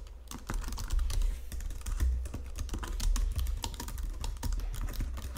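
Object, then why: Plastic computer keyboard. Fingertips and nails type and press on a white plastic Logitech computer keyboard resting on marble, making a steady run of quick plastic clicks and taps. Under the clicks sits a constant low rumble, and each keystroke fades quickly.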